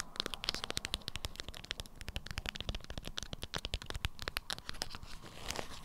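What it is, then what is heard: Beeswax-coated fabric wrap. Long acrylic nails scratch and tap a stiff, lemon-print beeswax-coated fabric wrap around a small item. The result is a steady stream of quick, bright crinkling taps and scratchy crackles, with soft low thumps beneath them.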